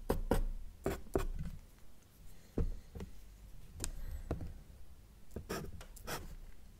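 A felt-tip marker makes short dash strokes and ray lines on a flat, thin, solid sheet of white drawing paper. The tip rubs the paper in a series of brief, dry scratches, each a quick swish with a soft low body, separated by quiet pauses.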